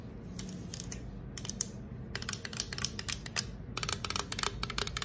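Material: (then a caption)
Aluminum. Long acrylic nails tap rapidly on the side of a green aluminum soda can, held first by its bottom and then set upright. The taps come as quick, uneven bursts of short, bright clicks with almost no ring, over a soft low hum.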